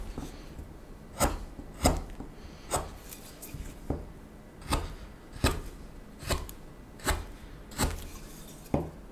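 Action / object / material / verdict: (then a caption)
scrape / wooden spoon blank cut with a steel knife / wood / none. A small steel knife cuts and scrapes the bowl back of a solid wooden spoon blank in a quiet space. Short, crisp cutting strokes land at a steady pace, each a bright snap over a low, dull body. Soft rubbing scrapes fill the gaps between them.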